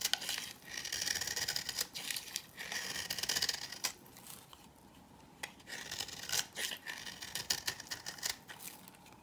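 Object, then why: Bar soap cut with a knife. A knife blade cuts and scrapes crumbly shavings from a solid, dry, old cream-yellow bar of soap held in the hand. Bursts of bright, gritty scraping and crackling come in waves, with a quieter stretch in the middle before the scraping picks up again.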